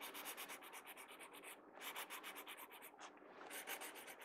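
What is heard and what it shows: A pencil tip scratches quick hatching strokes across the page of an open paper sketchbook. Rapid, bright, papery scratches come in steady bursts, with two brief pauses before the strokes resume.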